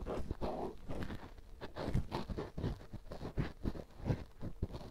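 A black cotton swab held in the fingertips rubs inside the canal and bowl of a life-size white silicone ear microphone, a solid, soft, rubbery ear. This produces close, muffled scraping and thumping with dull, low-heavy bumps and soft rustles and almost no bright edge.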